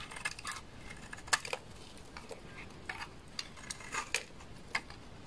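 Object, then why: Bar of laundry soap cut with a knife blade. A solid beige bar of laundry soap held in the hand is scraped with a utility knife blade, sending flakes falling. Short, bright scraping and crackling bursts sound over a quiet background, with about twelve sharp peaks that die away almost at once.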